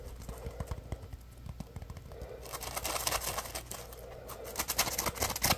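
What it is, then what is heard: Foam sponge being scratched and squeezed. A yellow, palm-sized, solid polymer foam Scrub Daddy sponge with a face cutout is held in both hands while fingertips squeeze and scratch it. Soft, irregular scratching and squeaky rubbing give way to a denser, brighter, crackling rustle about halfway through, growing louder toward the end.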